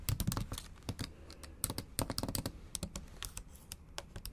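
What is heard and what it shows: Long acrylic nails tap rapidly across the black plastic keys of a MacBook Pro keyboard set in an aluminum body. The result is a dense, uneven run of short, dry clicks, each with a low thud and a bright tick that die away almost instantly.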